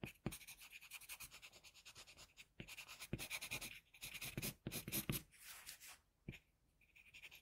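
A wooden HB pencil sketches steady strokes across a flat white drawing paper sheet. It makes a quiet, bright, rasping scratch in short repeated bursts, with brief pauses between strokes.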